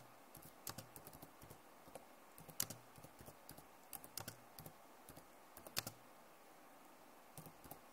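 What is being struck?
Plastic laptop keyboard keys tapped with long nails.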